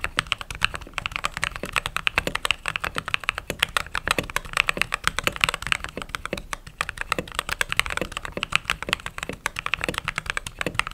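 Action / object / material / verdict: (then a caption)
tap / mechanical keyboard with plastic keycaps / plastic / none. Fingertips type continuously on a mechanical keyboard with white/cream plastic keycaps. A rapid, steady stream of short, crisp clacks fills the clip, each keystroke sharp and bright with very little low-end thump and almost no ring.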